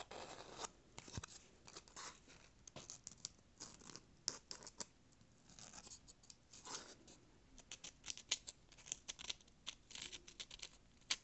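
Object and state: Corrugated cardboard being scratched.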